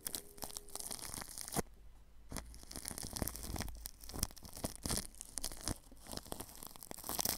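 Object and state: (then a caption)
Plastic cling film brushed over a microphone. A paintbrush brushes across plastic cling film wrapped over a ball microphone's grille. The result is dense, crinkly rustling with bright, hissy scratches and soft low thumps. Brief quieter gaps fall between bursts of strokes.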